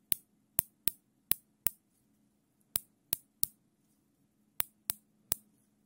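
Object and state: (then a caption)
Nylon zip tie ratchet clicks. A larger black nylon zip tie is looped while gloved fingers pull its serrated tail through the locking head. Eleven sharp, bright ratchet clicks ring out in uneven bursts over a faint, steady low hum.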